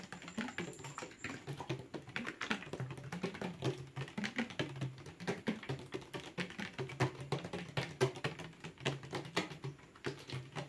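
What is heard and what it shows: A plastic water bottle is tapped and crinkled quickly as an ASMR trigger. It makes a fast, dense run of short, dry taps with low hollow thumps and crackly crinkling. Each hit dies away almost at once.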